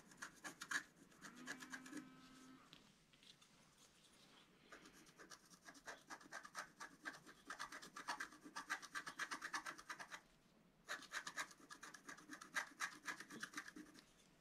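A wooden stylus scratches a flat scratch-art card, a paper sheet with a black coating, in quick, uneven strokes. The dry, raspy scrapes are bright and centered around 1.7 kHz, with a short low squeal near the start. There is a quieter stretch around 3–4.5 seconds and a brief pause near 10.5 seconds before the scratching resumes.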